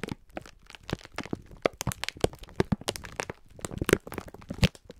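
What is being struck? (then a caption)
Pack of sponge scourers in plastic film. A clear plastic-film pack of sponge scourers is held in both hands while the fingertips squeeze and rub it. This produces a rapid series of sharp, dry crackles and crinkles with short, brittle snaps over quieter rustling, and each sound stops almost instantly.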